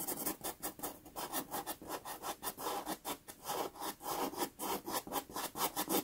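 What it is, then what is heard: Pastel pencil strokes on pastel paper. A white pastel pencil rubs and hatches across a small, taped sienna Pastelmat card. About 19 quick, rhythmic strokes produce soft, dry scratching sounds. The texture is airy and broadband, centered in the mids with a bright top and almost no low end.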